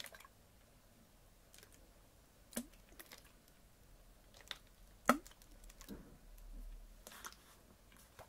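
A clear PET Bezoya water bottle, partly full of water, is tilted in the hand and tapped with fingernails. Soft, scattered clicky taps with bright edges sound over a quiet background, with one sharper tap near the middle. A faint low sloshing swell follows later in the clip.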